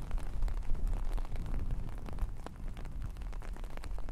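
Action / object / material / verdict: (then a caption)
scrape / long-pile faux fur fabric / synthetic fur / none. Both hands with long painted nails scratch and rub through large red and black long-pile faux fur fabric laid across a microphone, the fabric soft and flat rather than hollow. A dense, irregular stream of short crackling scratches rides over a deep, rumbling low-end rustle, with quick bright ticks poking through and the level dipping briefly before picking back up.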